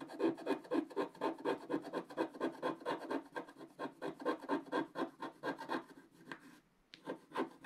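A wooden stylus held in the right hand scratches off the black coating around a lantern motif on a wax-coated scratch-art paper page in a book on a table. Quick, repeated raspy strokes rub across the page in a steady rhythm, with a short pause near the end before the scratching resumes.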